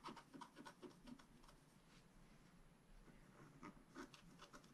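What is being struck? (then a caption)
Scratch-art paper card scratched with a wooden stylus. A wooden stylus scratches rapid strokes into the coating of a thin black-coated scratch-art card lying on a table. About a dozen short, raspy scraping strokes come in an irregular run, with a dry mid-range rasp and a faint low background rumble. Each stroke stops quickly, leaving a quiet, close, papery scratching texture.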